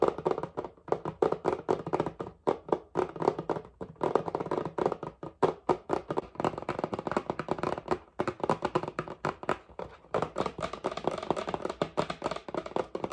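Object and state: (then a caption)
Paperboard cream carton. A red and white paperboard whipping cream carton with a plastic cap, held in one hand, is tapped with fingernails in fast, continuous bursts. Each tap is a short, dry, hollow tick centered in the midrange around 430 Hz and dies away almost instantly. The taps run in uneven rhythmic clusters with brief pauses throughout.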